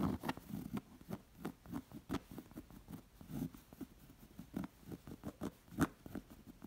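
Long acrylic nails and fingertips scratch and trace across the dense raised thread embroidery of a stuffed, fringe-edged round cotton pillow. The result is a quiet run of short, dry, soft scratches and taps that stop dead with no ring.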